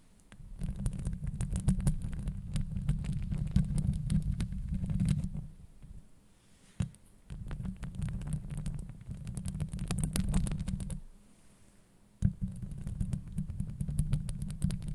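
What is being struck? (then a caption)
Woven metal mesh microphone grille. Long acrylic nails scratch and tap the hollow woven metal mesh dome on the head of a Blue Yeti microphone. Dense, deep rumbling scrapes come in three long stretches, separated by brief near-quiet pauses, each ending in a sharp tap that starts the next stretch of scratching.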